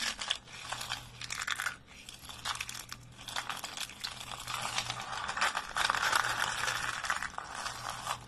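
Thin, dry, light-green soap shavings are crushed in fists and snapped with fingertips over a pile of flakes. They give a dense run of dry, bright, crackling crunches and crinkles with a faint low hum underneath. The sound dips briefly near two seconds, then grows fuller and louder toward the end.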